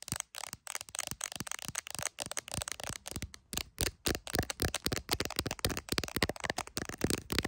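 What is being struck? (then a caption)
Phone in a clear plastic case. Long acrylic nails tap rapidly on the camera lenses and back of an iPhone in a clear plastic case held in both hands. The result is a fast, uneven stream of short, dry, bright clicks and taps with almost no ring, over a faint low thump.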